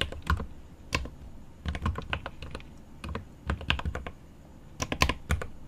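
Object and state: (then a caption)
Mechanical keyboard with plastic keycaps. Both hands type rapidly with their fingertips on a 75% mechanical keyboard with plastic keycaps on an aluminum case. Quick bursts of short, sharp key taps combine a deep, low thock with bright clicky edges, separated by brief quiet pauses.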